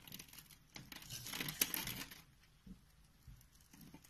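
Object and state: Bar soap being carved.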